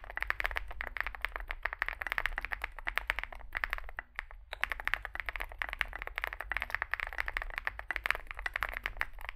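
Fingertips type continuously on a small Zoom65 65% mechanical keyboard with a dark case and white and grey plastic keycaps. Rapid, short, bright clacks run with a brief lull around the four-second mark, over a steady low hum.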